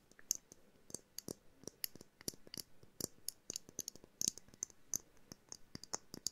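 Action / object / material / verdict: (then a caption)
tap / small glass jar ornament / glass / none. A small hollow glass jar snow globe ornament with a jute base and winter figurines inside is tapped and clicked with long nails. About 25 quiet, sharp, bright clicks and taps come in an irregular rhythm, each dying away almost instantly with a thin glassy tick.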